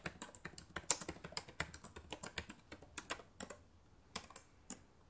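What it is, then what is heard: Plastic laptop keyboard being typed on. Fingertips with long nails type on the plastic keys of a black laptop keyboard, making a quick run of light, bright clicks that slows and thins out toward the end. Each tap is sharp with almost no ring, and the sound is mostly high with little low end.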